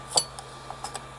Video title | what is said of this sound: Shelves and Racks | you just tap it underneath and you can hear it breaking free